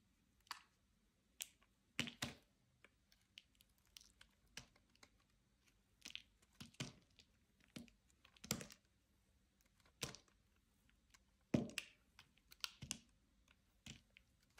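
A metal utility knife blade slices cubes off a solid white Ivory bar soap held in the hand, cutting and scraping it. A series of short, dry, crisp crunches and scrapes sound out with quiet pauses between them, some sharp and bright, others softer and duller.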